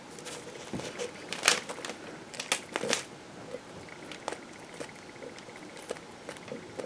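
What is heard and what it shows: A metal knife cuts and scrapes the end of a solid green bar of soap held in the hand, peeling off soap shavings. The sound is a quiet, dry, crinkly scraping with bright, crackly texture and a few sharper, louder strokes early on, then softer, intermittent scrapes. A faint steady tone sits near 2 kHz underneath.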